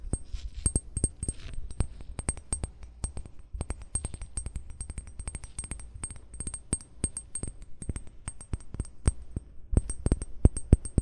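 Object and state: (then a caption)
Glass bottle base tapped and scratched. An empty amber glass bottle lies on its side with its base toward the microphone, and short fingernails tap and scratch across the base. Rapid, uneven taps give soft low thuds with bright clicky edges, mixed with brief scratching, and each tap dies away almost instantly.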